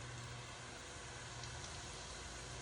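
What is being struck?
Nothing is struck.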